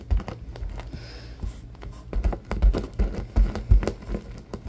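A soft, palm-sized purple stuffed cube covered in shiny vinyl sits on a wooden table and is scratched and tapped with fingertips and short nails. Dull, low thumps mix with faint crinkly scratching in an uneven, quick rhythm, and each tap dies away almost at once.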